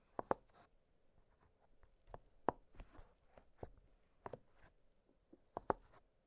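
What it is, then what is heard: Silicone pop-it fidget toy. Fingertips press the hollow bubbles of an octagonal blue silicone pop-it fidget toy lying flat on a glittery surface. Ten quiet, dull pops come at an irregular pace, some in quick pairs, each short and dry with no ring. Faint soft rustling fills the gaps between them.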